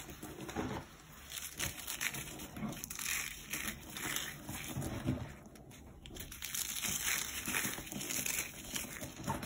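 Fingertips and nails pinch, crush and rub small pieces from a heap of crumbled, dried cornstarch chunks and powder, solid and brittle. The result is a dense, bright run of crisp crunching and crackling with short, dry snaps. There is a brief quieter lull just past the midpoint before the crushing picks up again.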